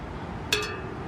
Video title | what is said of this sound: Used Ebay Road Bike Wheelset Has Cracked Rim | you can hear the spokes on the non-drive are a little bit less